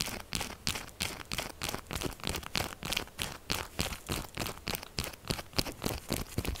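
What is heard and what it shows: Long nails rapidly scratch and tap the top and sides of a solid pink textured soap bar lying flat. The result is a fast, uneven stream of short, dry, crunchy scratches and clicks with a bright, crisp edge.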